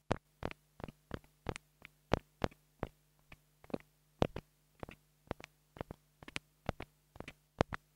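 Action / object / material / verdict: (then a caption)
tap / plastic mini microphone tapped with a wooden stick / plastic / none. A small black plastic mini lavalier microphone, held in the hand, is tapped with a wooden stick. It gives a steady run of sharp, dry taps, some in quick doubles, each with a bright click and no ring. A faint low hum sits underneath throughout.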